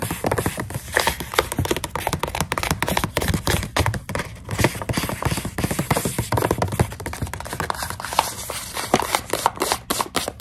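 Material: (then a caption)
Plastic. A fingernail taps rapidly on the front and clear window of a full plastic snack pouch of dried coconut strips. The result is a dense run of short, dry plastic clicks with a crinkly, papery texture and almost no ring.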